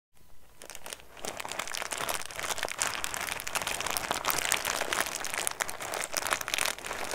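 A small clear-and-blue plastic snack bag holding loose pieces is held in both hands near the mic and crinkled and squeezed with fingertips. After a brief quiet start, a dense, continuous bright crinkling builds, packed with sharp crackles and crunches. It stays steady and busy to the end with little low-end weight.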